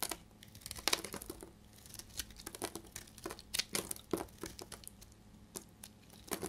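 A solid, dry, dark blue-grey bar of soap is held in the hand and shaved with a utility knife blade. Short, dry, crisp scrapes and crackles come in irregular bursts, bright and crumbly with almost no low end. Each cut stops abruptly with no ring.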